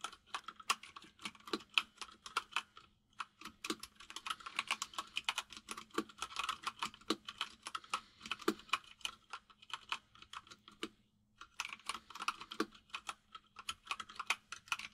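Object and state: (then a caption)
Plastic mechanical keyboard. Both hands type with their fingertips on a compact mechanical keyboard with white and grey plastic keycaps. Rapid, bright, clacky key taps that stop almost at once come in quick bursts, with short pauses near 3 and 11 seconds.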